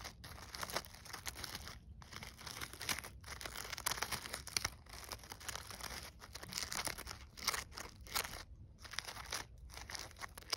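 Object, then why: Artificial poinsettia with glittered leaves and burlap petals. Long nails and fingertips scratch and crumple the stiff glittered leaves and burlap petals of a gold glitter-coated artificial poinsettia ornament resting on snow. The result is a dense, bright crinkling and crunching with rapid scratchy ticks, broken by a few brief pauses.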